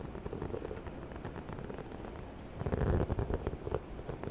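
Long white-tipped nails tap and scratch the embossed surface of a small, hollow, white croc-embossed faux leather shoulder bag with a gold zipper and chain handle, held close to the mic. A rapid stream of soft, dull, bass-heavy taps and rustling scratches runs throughout, growing louder and more pronounced in the second half.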